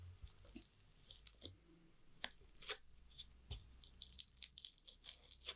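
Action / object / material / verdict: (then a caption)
scrape / foam bead slime pressed with a plastic tool / foam beads / none. A rounded green plastic tool presses into a flattened layer of multicolored foam-bead crunchy slime on a wooden board. It makes a quick series of sharp, bright crunches and crackles with very short decay, over a faint low hum.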